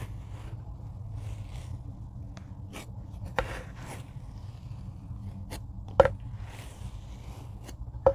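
A rocker blade chops repeatedly into a tray of packed kinetic sand. It gives soft, dull, muffled cuts over a low, steady rumble, with sharper clicks standing out near the middle and end.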